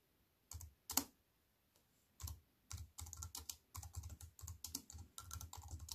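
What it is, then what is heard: Plastic computer keyboard being typed on. Fingertips with long nails type on a compact wireless keyboard with black plastic keys set in a thin silver aluminium frame, resting on a wooden table. A few isolated taps open, then quicker runs of keystrokes follow. Each stroke is a short, dry clack with a soft low thud and a bright click on top, stopping almost instantly in the quiet between.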